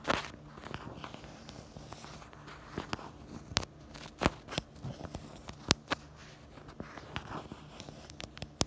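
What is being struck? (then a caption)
Plastic phone case. Long acrylic nails tap the back of a pink plastic phone case held in the hands, and its black camera bumper. Sharp, very short clicks land at an uneven pace over a low, soft crackle, with the loudest taps bright and snappy.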